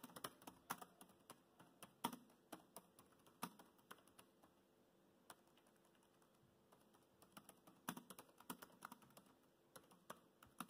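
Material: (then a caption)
Plastic. Fingertips of both hands type steadily on the black plastic chiclet keys of a dark grey laptop. The result is a quiet run of short, soft clicks and taps with brief pauses, some strokes louder than others.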